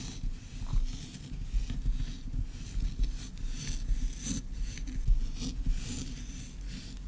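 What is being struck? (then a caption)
Kinetic sand on a wooden board. Long red nails scratch and dig into flattened pink kinetic sand on a wooden board, leaving crumbly grooves in the granular, solid mass. The sound is a soft, continuous rasping scrape with a low rumble underneath and brighter gritty bursts as the nails drag through.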